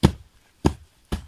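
Three dull, low thuds as the ground or stone slab at Merlin's tomb in the Brocéliande forest is knocked or stamped on, each dying away quickly. The ground rings hollow, which is why legend holds that Merlin's body could lie in a cavern beneath the stones.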